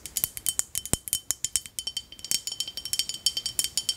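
A small clear glass bottle with a red cap and a paper label, partly filled with light liquid, is held in the hands and tapped and scratched with long acrylic nails. About thirty quick, bright clicks and clinks follow in a rapid, uneven rhythm, each dying away almost at once. The sound sits almost entirely in the high range, with a faint ringing tone running through it.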